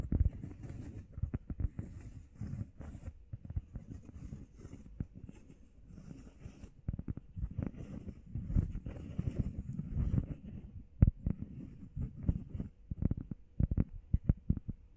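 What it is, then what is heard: Foam workout pad. A solid, grey, textured, heart-shaped foam workout pad, about hand-sized, is tapped quickly with the fingertips and nails. The taps make a fast, irregular patter of soft, dull, low thuds with faint light clicks on top. Each tap stops almost at once with no ring.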